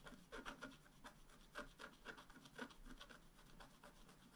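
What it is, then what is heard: Scratch-art paper being scratched. A wooden stylus scratches the black coating on the lower area of a flat scratch-art card. It makes a quiet series of short, dry rasping strokes with a gritty, slightly bright texture and a faint recurring tone. The strokes stop quickly with almost no ring.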